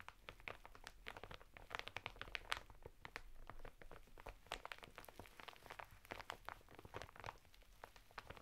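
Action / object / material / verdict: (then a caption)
scrape / sisal bath mitten in plastic wrap on cardboard / plastic / none. Fingertips and short nails of both hands quickly tap and scratch the clear plastic of an open packet holding a woven sisal bath mitten on red cardboard, lying flat on a table. The result is a dense run of quiet, dry crinkling taps and scratches with crisp, bright clicks, each dying away almost at once over the rough fibre texture beneath.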